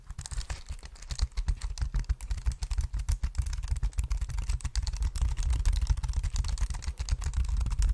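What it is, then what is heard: Plastic keyboard keys tapped. A black plastic wireless keyboard is held in both hands close to the microphone while its keys are tapped with the fingertips. The result is a rapid, irregular stream of soft clicks and taps with a heavy low thump under each one and faint bright ticks on top. The taps blur together too closely to count.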